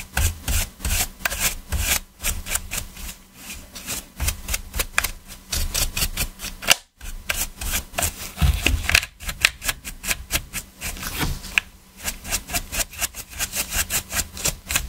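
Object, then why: Hard plastic game controller scrubbed with a stiff brush. A black PS4 controller of hollow hard plastic, held in gloved hands, has its top edge, triggers and buttons scrubbed with a stiff detailing brush. Quick, dry, bright scratching strokes come in steady bursts with brief pauses, each stroke a sharp rasp with almost no ring.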